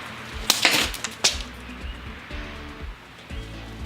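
A tungsten carbide ring is dropped onto concrete and shatters into pieces, with a bright, high-pitched crack and a short burst of scattering clinks. The ring breaks, leaving only a fragment behind.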